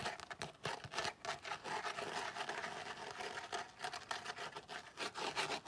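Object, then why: Tooled leather zip wallet. A tan tooled leather zip wallet is held close and scratched and tapped with fingernails. Quiet, dry scratching and rubbing run throughout, broken by brief crisp taps that die away almost instantly.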